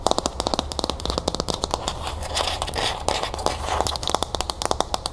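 A teal hollow plastic bowl with a few cereal puffs inside is held in the hands while long nails tap and scratch its outside. Dense, rapid, crisp clicking taps with a hollow plastic tone run alongside softer scratchy rustling, each tap dying away almost instantly over a faint low hum.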